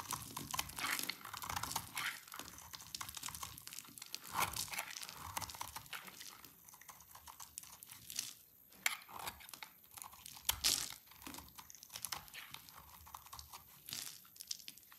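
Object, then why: Soap bar shaved with a small knife. A small knife shaves long strips off a solid, rounded amber-orange bar of dried soap held in hands with red nails, letting the strips fall into a pile. Dense, dry, crisp scraping and crunching comes in a steady run of short, bright strokes with occasional louder cracks.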